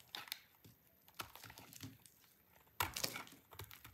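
A solid, dry orange soap bar held in the hand is cut into thin, crunchy shavings with a utility knife blade. Quiet, bright crisp scrapes and crackles come in short, separate bursts, with a louder cluster of crunches near the end.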